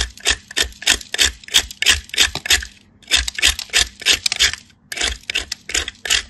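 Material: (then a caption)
Soap. A wedge of solid white soap is grated on a handheld metal grater, held by fingers with blue nails. Quick, repeated scraping strokes make bright, raspy bursts in a steady rhythm, with short pauses between runs.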